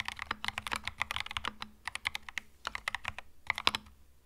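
Fingertips type on a compact cream mechanical keyboard with plastic keycaps, making a quick, uneven run of crisp, bright clacks. Each keystroke is short and dry, with almost no ring, and the strokes sit against a quiet background.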